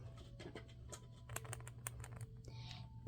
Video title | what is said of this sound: mini brands season 4 opening part 1! (My hands failed me and I hit the wrong button) | if you shake it it sounds like there's gum in there